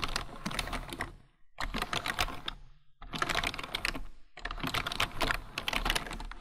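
Both hands type with their fingertips on a full-size black plastic computer keyboard. Bursts of quick, bright, clicky keystrokes come in four runs, separated by short pauses.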